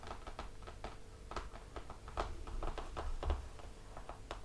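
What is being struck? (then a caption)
Laminated cardboard book cover. Fingertips of both hands tap quickly on the glossy laminated cardboard cover of a closed hardcover picture book resting on a table. The result is a steady, soft patter of short, dull taps over a low background hum.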